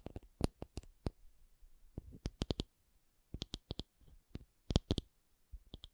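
A rubber object is tapped in a quick, irregular series of short, soft clicks with dull low thuds and bright, tight ticks. Each tap dies away almost instantly, leaving brief near-silent gaps between clusters.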